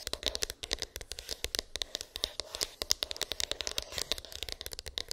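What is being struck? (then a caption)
Small cardboard phone box. Long pink acrylic nails tap and scratch on a small, hollow white cardboard iPhone box with an embossed, textured lid. A rapid, continuous run of dozens of sharp, dry clicks and scratchy strokes comes through, each one crisp and bright with almost no ring and little low end.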